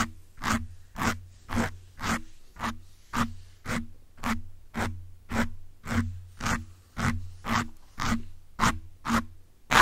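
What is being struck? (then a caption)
Foam microphone windscreen. A small bundle of metal pins held in the fingertips scratches and pokes the soft, porous grey foam windscreen on a black USB condenser microphone, in direct contact with the mic. The result is a steady series of short, crackly scraping bursts with a low thump underneath each stroke.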